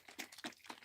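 A plastic bottle of white acrylic paint is shaken three times, and its runny, over-thin contents slosh and squelch with bright, wet bursts. The watery sound shows the paint has become too thin.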